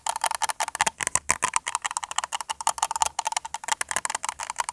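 A small, hollow red plastic cup or container, apparently empty, is held in both hands and tapped and scratched with the fingertips and short nails. Rapid, dry, clicky taps ring around 1 kHz with bright, high scratchy texture and almost no low end. Each hit dies away almost instantly.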